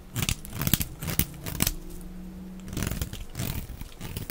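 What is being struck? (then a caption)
Bar of soap. A utility knife blade scrapes and shaves thin flakes off the edges of a hand-sized, solid rectangular block of dry white soap held in the hand. Short, dry scratching and cutting strokes sound with crisp high edges over a low body, separated by a quieter stretch where a faint low hum lingers. Thin flakes come away from the bar's edges.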